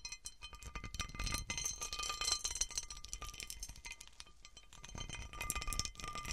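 Fingernails and fingertips scratch and tap the underside of a large, textured cut glass serving platter with raised bumps on its patterned surface. The result is a quiet, busy stream of rapid, irregular clicks and bright glassy clinks with short, dry decays, mixed with soft scratching and some low, dull thumps from the touches.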